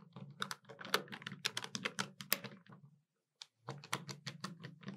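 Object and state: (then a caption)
Plastic desktop calculator. Long nails tap the keys of a hollow black plastic desktop calculator, sometimes with two index fingers and sometimes with all fingers. The result is quick, irregular, bright clicking taps over a low steady hum. A short silent pause comes just after the three-second mark before the tapping resumes.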